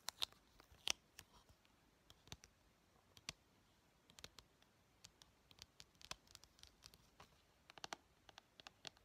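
Painted fingernails tap and scratch the top edge and front cover of a hollow blue plastic PS4 game case. About two dozen quiet, sharp, bright clicks and light scratches come at irregular intervals, with almost no low end and no ring after each tap.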